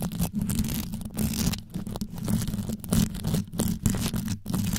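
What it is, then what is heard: Rhinestone-covered microphone grille. Long yellow nails scratch rapidly down onto the top of a black condenser microphone with a rhinestone-covered grille. The result is a dense, crunchy, tearing scrape that is heavy in the low end, with brief bright flecks riding over a continuous rumble that swells and dips in quick bursts.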